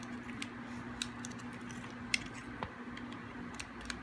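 A metal blade carves a small, hard, dry chunk of solid green bar soap. Sharp, brief clicks and crisp scraping snaps come at irregular intervals over a faint, steady low hum, each cut ending almost instantly.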